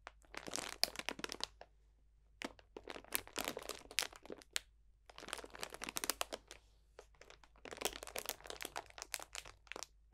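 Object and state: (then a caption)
Plastic bag of dried potpourri. Fingertips press and crunch a clear cellophane bag full of dried potpourri botanicals. Bright, crackly crinkling comes in four dense bursts separated by short pauses. The sound is quiet and close, with sharp crunches that stop instantly.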